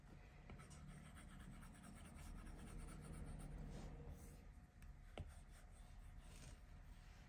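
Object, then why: Plastic stylus on glass tablet screen. A plastic stylus tip rubs back and forth across the flat glass touchscreen of an iPad Pro while filling in color. The quiet, steady scratchy strokes carry a soft low rumble, broken once or twice by a brief sharp tick of the tip against the glass.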